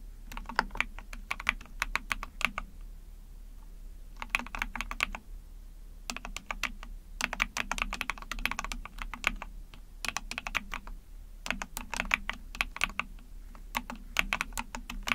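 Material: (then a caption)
Plastic. Rapid key presses are typed with long painted nails and fingertips on a small, backlit 44-key Epomaker TH40 mechanical keyboard with an ABS plastic case, a PC plate and pink and white keycaps. The sharp, bright clicks come in quick bursts separated by short pauses, with a light low thump beneath them.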